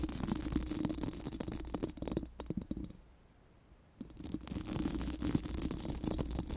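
Pink silicone wands rub and scratch across a hollow metal mesh microphone grille, making dense, rapid scratchy rustling over a steady low rumble. The scratching fades to near silence for about a second midway, then resumes at full texture until the end.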